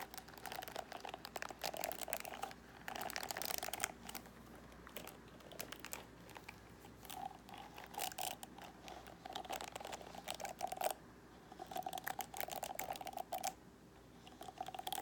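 Long painted nails scratch and tap across the plastic ball-tipped pins of a large flat plastic paddle hairbrush with a black rubber cushion. Bursts of dry, crinkly scratching with bright rasps and quick clicking taps come in uneven waves, broken by brief quieter gaps.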